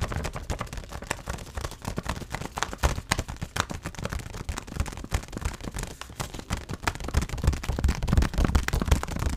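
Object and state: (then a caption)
Granola pouch tapped. A white stand-up granola pouch of laminated paper and plastic, filled with granola and held upright, is tapped with fingertips and nails on its back panel. The result is a rapid, irregular stream of short, dull taps with a heavy low-end thump and faint crinkly clicks, each dying away almost at once.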